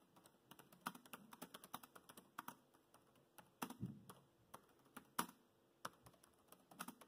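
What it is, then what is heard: Plastic laptop keyboard. Fingertips of both hands rapidly tap the black plastic chiclet keys of a grey laptop's plastic keyboard. The result is a quick, uneven stream of short, dry clicks and soft thuds that die away almost instantly, with a few sharper, louder keystrokes standing out along the way.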